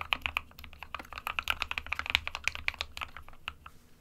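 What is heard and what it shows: Fingertips of both hands type continuously on an SK61 small 60% white plastic-cased mechanical keyboard with plastic keycaps, resting on a desk mat. About two dozen quick, bright, clacky keystrokes come in an uneven rhythm, each dying away instantly with no ring, over a faint low hum.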